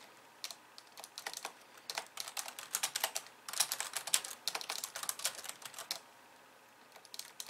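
Both hands type fast on a slim pink plastic keyboard with white plastic keys and a hollow body, resting on a wooden desk, tapping with long painted nails and fingertips. The result is a quiet, bright clatter of short, crisp clicks in uneven bursts. It thins out to a brief lull near the end before a few more taps.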